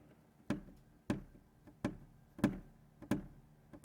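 A finger reaches through the sunroof weather stripping of a 2019+ Acura RDX and flicks the wind deflector up and down, giving six dull, low thuds with a short decay and no rattle. This is after a fix: the deflector now sits secure, where it used to rattle.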